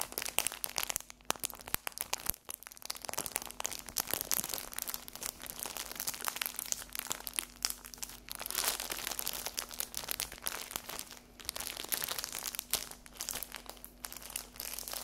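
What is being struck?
Cellophane-wrapped paper napkin pack.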